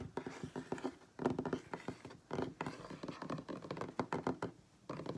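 Fingertips and nails of both hands rapidly tap a solid wooden tabletop up close, in quick bursts separated by brief pauses. Each tap is short and dry, with a hollow knocking tone around 260 Hz and almost no ring.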